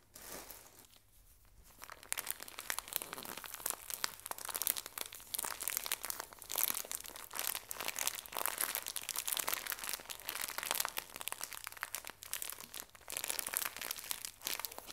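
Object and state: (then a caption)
Plastic-wrapped tissue pack. A small Scottex pocket tissue pack, wrapped in thin printed plastic and full of paper tissues, is squeezed and crinkled by fingertips with long nails. After a quiet first two seconds, dense bright crinkling and crunching runs continuously with almost no low end.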